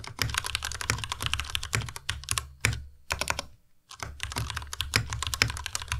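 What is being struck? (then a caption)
Mechanical keyboard with plastic keycaps. A compact white Ducky Miya Pro mechanical keyboard with white plastic keycaps and Cherry MX Red switches, typed on continuously with the fingertips of both hands. Rapid, bright plastic clacks and taps ride over a low thock from each keypress, with two brief pauses near the middle before the typing resumes.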